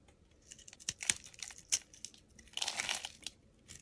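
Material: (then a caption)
Soap. A metal utility blade cuts and scrapes the scored surface of a solid, palm-sized, pink hexagonal embossed soap bar held in hand, with flakes falling away. Crisp, bright crunching and crinkly scraping ticks come in quick, uneven bursts, with a few sharper cuts standing out and a denser stretch of rasping near the end. There is almost no low end.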